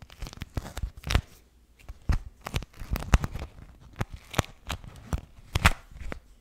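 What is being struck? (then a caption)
Beeswax-coated cotton wrap. A pink floral beeswax wrap, a thin waxed cotton fabric sheet, is crumpled and rubbed in both hands right at the mic. Bursts of crackling, tearing-like crinkles with low thumps come in uneven clusters separated by brief quiet gaps.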